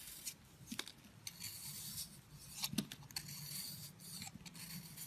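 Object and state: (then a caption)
Bar of soap scraped with a blade. A blade scrapes and rubs a solid purple heart-shaped soap held in the hand, flaking off its dry crust. The result is a quiet, steady, bright rasping with brief crisp ticks and a faint low hum underneath.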